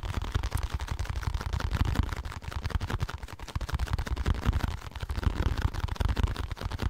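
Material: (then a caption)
Cardboard. A small blue and white printed packaging box, likely hollow cardboard, is held beside the mic and tapped and scratched with fingertips and nails. The result is a dense, steady stream of quick, dull thumps, heavy in the low end with a deep hollow boom. Faint scratchy rustle sits above, and each tap dies away almost instantly.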